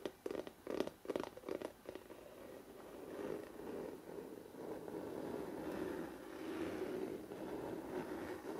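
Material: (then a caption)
Glossy cardboard. Fingertips tap quickly on the glossy paper front cover of a large, solid hardcover photo book, giving about eleven short, dull taps in the first two seconds. The fingertips then scratch and rub steadily across the glossy cover for the rest of the clip, making a soft, continuous papery scraping with a low-mid body.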